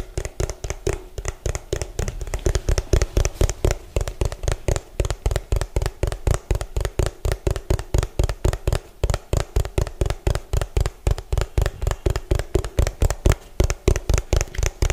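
Fingertips and nails tap rapidly on the bottom of an orange hollow plastic food container, producing about 64 quick, uneven taps over the clip. Each tap is a short, dull, low thud with almost no ring, with a faint bright click on some strikes.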